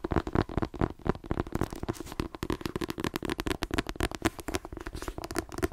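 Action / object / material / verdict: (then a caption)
tap / paperback book with glossy card cover / paper and card / none. A paperback book with a glossy card cover is held by its spine while fingernails tap quickly along the spine and edge. The result is a rapid, uneven stream of dry, clicky taps with a hollow, papery body and almost no ring between them.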